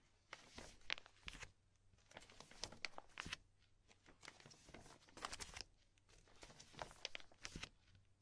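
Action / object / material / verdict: scrape / thin plastic binder sleeves / plastic / none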